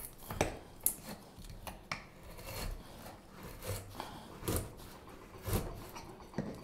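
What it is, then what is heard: Wooden spoon blank being carved. A solid light wood spoon blank, probably basswood, about 25 cm long, is held in gloved hands and shaved with a straight steel carving knife. Nine short, dry cutting and scraping strokes rasp across the wood with a soft crackle between them, each fading almost at once.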